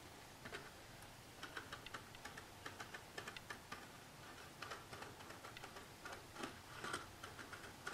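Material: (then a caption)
Cardboard. Long natural fingernails tap and scratch along the top edge and front panel of a long blue cardboard Handi-foil box, held horizontally, hollow, with the foil roll inside. The result is a quiet, irregular series of about eighteen light, dry clicking taps with a papery, mid-high tone around 1.6 kHz. Each tap dies away almost instantly over a soft scratchy background.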